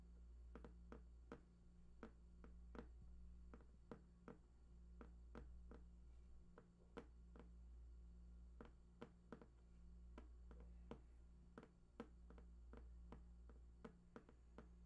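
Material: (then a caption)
Cardboard. Fingertips tap near the right edge of a large, hollow, printed cardboard PlayStation 4 box with unknown contents, making a steady run of short, dry, quiet taps that die away almost instantly. A constant low hum sits underneath the tapping throughout.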